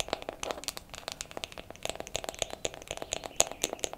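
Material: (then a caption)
Wood. A wooden makeup compact is tapped quickly with fingernails for ASMR, giving around twenty short, dry clicks in an uneven, rapid rhythm. The taps are bright and crisp with almost no low end, and each one dies away almost instantly.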